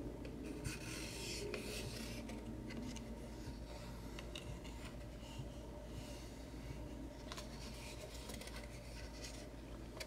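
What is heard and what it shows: A small, light plywood craft knife box with a metal latch, hollow and closed, is scratched and rubbed along the wood with short nails. A steady, quiet rasping friction runs throughout, with brief brighter scrapes over a low hum.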